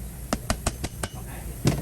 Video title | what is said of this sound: Engine Head Gasket / Cracked Head Repair (Toyota 3.4L V6 5VZ-FE ) - Part 4 | when you hear that solid sound you know you fully seeded it